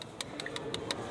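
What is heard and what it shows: Plastic interior trim in a truck cab is tapped, giving a series of short, hollow, light ticks with almost no ring. The sound is judged to show the trim is cheap plastic.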